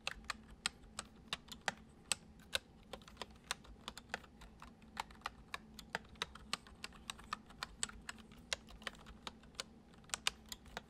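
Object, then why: Plastic computer keyboard. Fingertips tap the keys of a full-size white plastic computer keyboard resting on a wooden desk, typing at a gentle, uneven pace. About 39 quick, bright clicks stand out, each dying away almost instantly over a faint, steady low hum.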